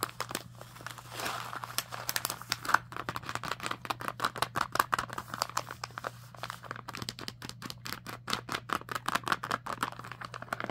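Long nails tap and scratch across a full, small plastic bird-treat bag resting on fabric. Quick, sharp crinkly clicks and rustles run in a steady, rapid series through the whole clip, over a faint constant low hum.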